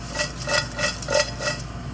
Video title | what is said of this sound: Crispy Homestyle Fries | You can hear how crispy they are